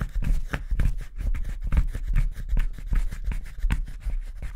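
A gouge scrapes the hollow interior of a wooden spoon blank's bowl, which is pressed against a table by the fingers. Short, irregular scraping strokes repeat quickly, each with a brief bright rasp over a heavy low thump from the table, and there is almost no ring afterward.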